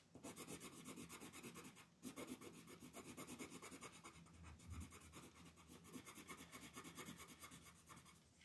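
A pink colored pencil shades in continuous back-and-forth strokes near the outer ring of a flat white paper mandala coloring sheet on a table, with the other hand resting on the sheet. It makes a steady, rhythmic, bright raspy scratching, with a brief dip in the strokes around the two-second mark.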